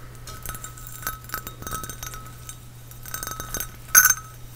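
A small, hollow, glazed ceramic Epcot Spaceship Earth trinket dish, with a round white textured sphere on top and a painted rim, is held in one hand and tapped and scratched with fingernails on the sphere and the painted base. Soft, quick, bright clinks and scratchy ticks with very short ring sit over a steady low hum, ending in one louder, sharper clink near the end.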